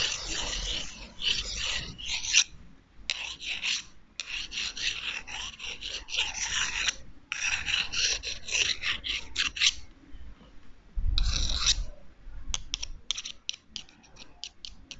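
Two long, thin, solid wooden chopsticks, one held in each hand, are rubbed and scraped against each other close to a microphone. Bursts of bright, raspy scraping come in bursts separated by short pauses, with a brief low thump near the middle, and the clip ends in a run of quick, short scrapes.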